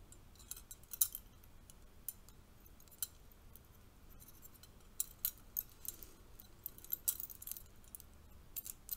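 A bundle of thin, bronze-colored metal curtain rings, hollow hoops with clip hooks, is held in both hands and knocked together with fingertips and nails. Soft, scattered clinks and light jangles ring out bright and very short against a quiet, hissy background.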